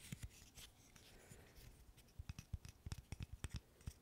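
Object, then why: Small wooden interlocking stick puzzle. A small, solid wooden burr puzzle made of light-wood interlocking sticks is held in both hands and scratched and tapped with fingernails. Soft, dry scratching and a few scattered taps give way to a quick, irregular run of sharp, short clicking taps with a low, dull knock beneath each one. The sound stays quiet and close throughout.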